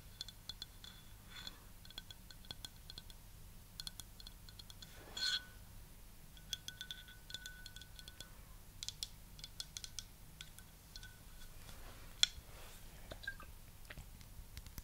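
Long nails tap on a hollow, clear glass water bottle with an orange silicone cap and decorative flowers inside. The result is a soft, irregular stream of quick, light clinks with a bright ring near 3.4 kHz that dies away almost instantly, over a faint low hum.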